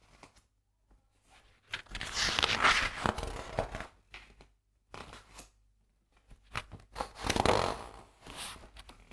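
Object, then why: Thin printed paper pages of a large atlas. Fingertips with long nails lift, slide along and turn the thin printed map pages of a large atlas lying open on a table. Soft taps and light scratches lead into two longer bursts of crisp, bright paper rustling and crinkling as pages are turned, with quiet pauses in between.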